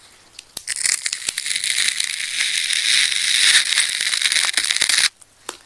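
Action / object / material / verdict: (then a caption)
scrape / ball of wound plastic adhesive tape / plastic tape / none. Hands hold a fist-sized, solid layered ball of wound red, black and pink plastic adhesive tape while a fine needle-point craft knife cuts and scratches into the tape layers. After a few sharp clicks, a dense, bright tearing crackle runs almost continuously for about four and a half seconds, then stops abruptly, leaving a couple of faint clicks.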